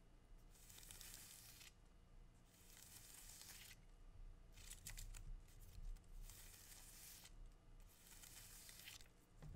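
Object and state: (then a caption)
Palm frond leaflets being torn. Fingers with dark-painted nails pull and tear the thin, narrow leaflets of a green palm frond. Repeated bright, airy ripping bursts of about a second each sound over a quiet, low background hum.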